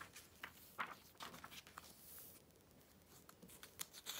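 A hand sweeps the pages of an open glossy paper Vogue magazine, the July 2013 issue, and rubs them flat with its fingertips. Soft, crisp, bright rustles and slides rise and fade, with a few sharper flicks of paper over a quiet, hushed background.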